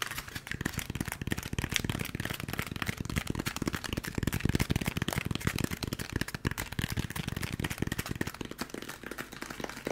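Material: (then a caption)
Polystyrene foam. A handheld white textured polystyrene foam packaging block is tapped and scratched quickly with fingertips, producing a dense, steady stream of short, dry, hollow taps with a bright scratchy edge. The block is moved close to and away from the mic, so the taps swell and fade slightly in loudness throughout.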